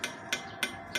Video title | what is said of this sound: NINJA 250 SL GANTI KNALPOT RACING CORSE PROJECT TAMBAH KEREN | bahannya bukan yang ringki ya bukan yang treng treng treng gitu bunyinya padat